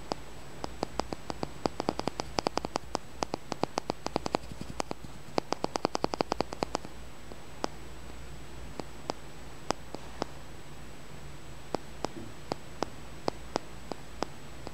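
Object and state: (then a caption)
Small polished stone. A small, solid, dark polished tumbled stone is held close and tapped and scratched with fingernails, making sharp, very short clicks over a steady low hum and faint hiss. The clicks come in a quick, dense run for about the first seven seconds, then thin out to scattered single taps.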